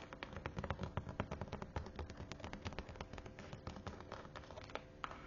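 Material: Faux leather.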